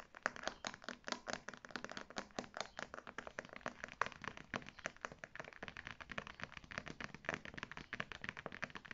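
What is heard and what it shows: Long dark red nails rapidly scratch and tap the textured front of a small beige faux leather zip-around wallet with a gold logo plate, held in the hands. The result is a continuous stream of quick, dry, crinkly clicks and scrapes with bright upper edges, each dying away almost instantly.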